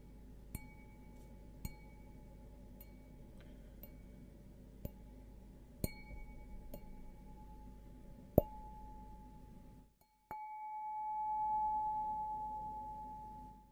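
An empty stemmed glass beer goblet with a green logo, held upside down, is tapped with a single fingernail, giving seven sharp, bright clinks over a steady low hum. After a brief silence, a final tap leaves a clear, sustained ringing tone that swells and slowly fades.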